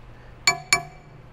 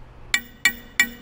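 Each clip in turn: First: solid chromoly steel track bar. Second: hollow-sounding factory steel track bar.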